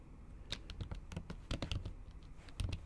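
Long acrylic nails type rapidly on a MacBook keyboard covered by a thin pink patterned silicone skin. The result is a quiet, uneven patter of short, muffled taps with a soft low thump, each with a brief bright click at its edge and no ring after.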